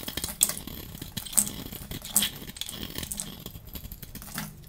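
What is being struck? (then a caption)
Soap bar. A hand holds a dry, hand-sized pink soap bar and shaves it with a metal utility-knife blade, peeling off curls and flakes. The blade gives crisp, bright scraping strokes with sharp peaks near 0.4, 1.4 and 2.2 seconds. Softer crackly scraping continues between them.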